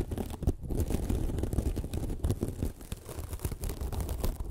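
Long nails scratch a small, soft, porous white sparkly foam sponge. The result is a dense, continuous run of muffled, crackly scratching that sits mostly in a low rumble, with quick uneven bursts and almost no bright top end.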